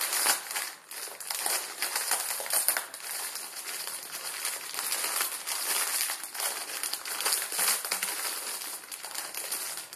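A plastic film ramen noodle packet is folded and crumpled in both hands with the fingers for about ten seconds. The result is a dense, steady crinkling and crackling that is bright and high-pitched, with almost no low end.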